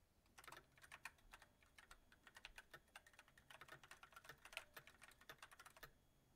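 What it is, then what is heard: Mechanical keyboard with plastic keys. Fingertips of both hands type continuously on a full-size backlit mechanical keyboard with white plastic keycaps on a silver metal frame. A steady run of quick, bright, clicky key taps with almost no ring, in uneven bursts with brief gaps, stops shortly before the end.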